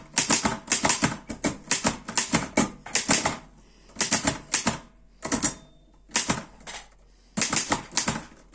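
Fingertips type on the keys of a black metal Erika 5 portable typewriter, producing bursts of sharp, bright clacks with short metallic ringing. The keystrokes come in quick runs separated by brief pauses.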